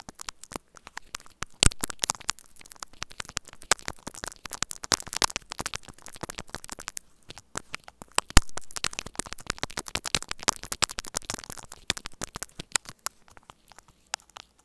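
Two metal tools held at the fingertips scratch and tap rapidly at both ends of a small white hollow plastic earphone inline microphone remote taped flat. The result is a dense stream of sharp crackling clicks and scratchy strokes with a bright edge over a low rumbling noise floor, and a few louder taps stand out.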